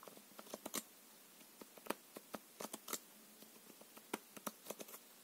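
A full deck of plastic-coated paper playing cards is held in the hands while the card edges are riffled, flicked and squared with the fingertips and nails. The result is a quiet series of sharp, dry, bright snaps and ticks with very short decay, scattered irregularly over a soft background hiss.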